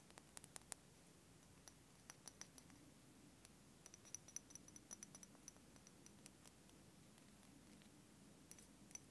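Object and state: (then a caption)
Small glass dropper bottle. Fingernails tap on a small, dark amber glass iodine dropper bottle with a paper label, apparently filled with liquid and held in the hand, tapping both the glass and the label. Quiet, sharp, bright clicks come in irregular bursts and scattered single taps, each dying away at once with no ring, over a soft low background hiss.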